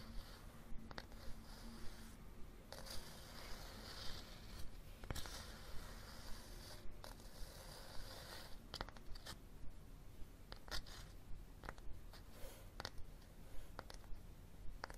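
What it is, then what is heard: Cloth-covered hardcover book. Fingernails tap and scratch along the cover and spine edge of a red cloth-covered hardcover book held edge-on. Quiet, dry, short taps about twenty in all, at an uneven, steady pace over a soft, continuous scratching rasp, with no ringing after each hit.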